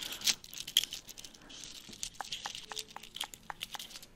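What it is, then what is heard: Broken, empty eggshell being picked and cracked. An empty, hollow, broken brown hen's eggshell is held in one hand while the fingernails of the other hand pick at, scratch and crack its edges. Bright, brittle crackles and sharp little snaps come in irregular bursts over a faint scratchy rustle, with almost no low end.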